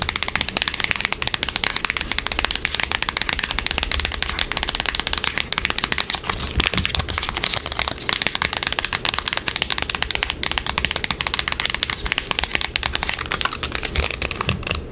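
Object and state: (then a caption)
Cardboard box tapped and scratched with nails. A small, hollow, closed, printed cardboard Tile product box is held in the hands and tapped and scratched quickly with long pink acrylic nails. The result is a dense, continuous stream of crisp, bright clicks and scratchy rasps with very short decay and little low end.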